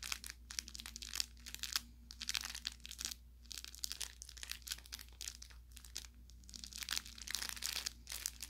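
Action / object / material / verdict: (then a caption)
squeeze / fabric plush toy with crinkle filling / fabric / none. Fingertips squeeze and pinch the narrow tip of a soft-stuffed orange velour fabric carrot toy with crinkle filling. The result is a quiet stream of bright, dry crinkling and crackling bursts that stop short, over a faint steady low hum.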